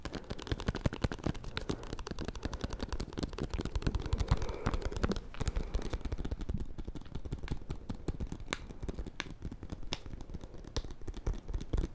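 A small solid bar of soap in a white paper wrapper is held in one hand while the other hand's fingernails tap and scratch the paper. The result is a steady stream of fast, dry, crinkly taps with a dull, low-heavy thud and very short decay, continuing through the whole clip.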